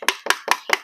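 Someone knocks on the metal housing of a high-quality solar lamp, four sharp, bright metallic knocks with a short ring around 2 kHz. The housing is heavy, more than twice the weight of a cheap one, and does not break when dropped.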